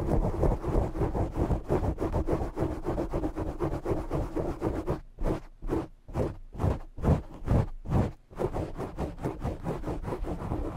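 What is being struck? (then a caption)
Foam microphone windscreen. Short nails scratch the sides of a black foam microphone windscreen, making a dense, rapid, muffled rustling that is heavy in the low end. Around the middle the scratching thins into separate, louder strokes with brief gaps of near silence, then returns to a steady scratchy rustle.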